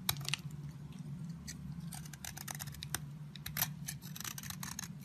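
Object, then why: Bar of soap scraped with a blade. A metal utility blade repeatedly scrapes a solid stick of yellow bar soap held in the hand, shaving off dry, crumbly flakes. The result is a quick run of crisp, bright, papery scratches over a steady low hum.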